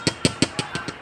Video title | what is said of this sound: mutya ng kalikasan nay pinaglolob sa atin ng inang kalikasan sana'y suport | Bato yan. Yan. Solid. Solid ang tunog.